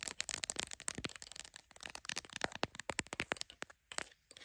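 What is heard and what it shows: Long acrylic nails rapidly tap and scratch the back and glass lenses of a solid, hand-sized smartphone in a clear plastic case, held in a tripod clamp. A fast, dense run of crisp, bright clicks and scratchy crackles with almost no low end, each tap dying away instantly, with a few short pauses near the end.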